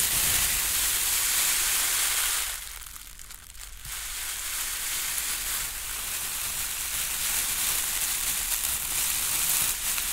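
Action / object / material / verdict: shake / crinkle-cut paper shred packing filler / paper / none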